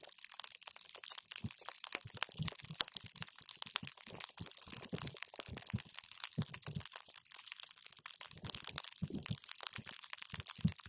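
A paper straw is pushed down into a clear plastic cup full of multicolored water gel beads, crushing them. A steady stream of wet, squishy crunches and bright crackles runs throughout, with occasional low soft thuds as the beads give way.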